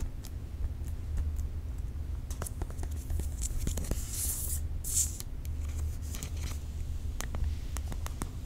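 A space grey iPad Air 4, its thin solid aluminium back still covered in protective plastic wrap, is held upright and tapped with long nails. Many quick, light clicky taps die away almost instantly over a steady low hum. Around the middle, a brief bright crinkling rustle of the plastic film stands out.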